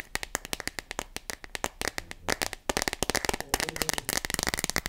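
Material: Plastic.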